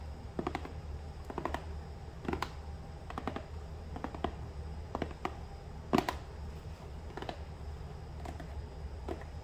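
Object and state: Small cardboard box.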